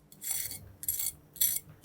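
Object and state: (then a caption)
Crispy baked chicken wing skin. A knife is run over the skin of a chicken wing that was boiled before baking, to test its crispiness. Repeated bursts of bright, high-pitched crackling scraping are heard, and the wing sounds very crispy.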